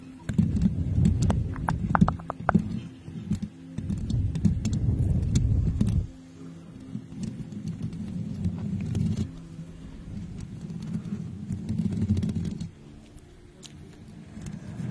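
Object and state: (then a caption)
Metal microphone grille being scratched and tapped. Long nails on both hands scratch and tap the hollow, domed metal mesh grille of a pink USB condenser microphone, producing dense, rapid, boomy rustling and tapping that is heavy in the low end. It is loudest for the first six seconds, then softer and steadier, swells again around nine to twelve seconds, and drops to a quiet hush near the end.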